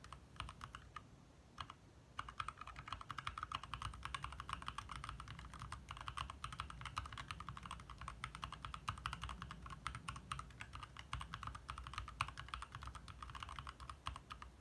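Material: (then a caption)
Plastic. A compact 60% backlit mechanical keyboard with lit plastic keycaps is typed on with the fingertips of both hands in fast taps. A dense, steady stream of short, dry clacks centered around 1 kHz sits over a soft low thump, with a brief lull near the start. Each keystroke dies away almost instantly.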